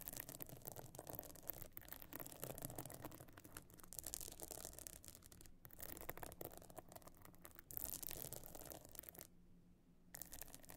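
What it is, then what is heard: Pebble-encrusted clutch bag. Long nails scratch and tap across the stone-chip encrusted top of a closed, pebble-encrusted metal-frame clutch bag lying flat. The result is a dense, bright, gritty rasping with quick clicks, a steady low hum underneath, and a brief near-silent pause before the scratching resumes.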